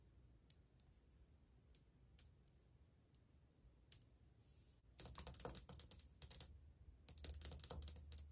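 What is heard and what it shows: Long painted fingernails tap on old glazed ceramic subway tiles on a wall, which sound flat and solid. Sparse, quiet single-finger taps come first, then from about five seconds several fingers drum in quick, louder bursts. Each click is short and bright with almost no ring.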